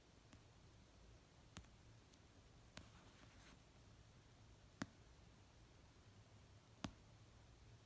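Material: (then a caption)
Paper. Long painted nails slowly tap the cover of an orange paperback novel resting on a blanket. Sparse, short, dry clicks sound at uneven intervals several seconds apart, over a quiet, steady low hum.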